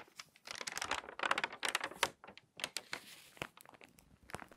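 An open glossy paper magazine has a page turned, then a palm rubs and creases it flat. Bursts of bright, crisp crinkling and crackling rise and fall, with sharp, dry snaps between softer rustling.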